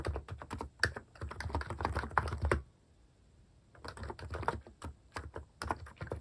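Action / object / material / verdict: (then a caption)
tap / keyboard with plastic keycaps / plastic / none. Fingertips type quickly on the plastic keycaps of a mechanical keyboard, producing a dense run of short, dull clacks with a low thump under each. The typing stops for about a second in the middle, then resumes at the same brisk pace until the end.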